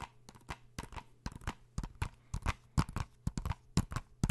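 Fingernails tap and scratch on a small, hollow blue plastic PS4 game case for Uncharted, held in both hands. Irregular clusters of crisp, dry clicks with short scratchy scrapes are heard over a faint low hum. Each tap dies away almost instantly.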